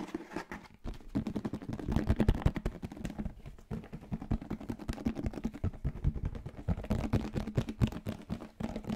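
A closed, hollow yellow plastic lunchbox-style food container is held close to a microphone while fingertips and nails rapidly tap and scratch its lid and sides. The result is a fast, dense stream of short, dull plastic clicks and scrapes, heavy in the low end, with almost no ring after each hit.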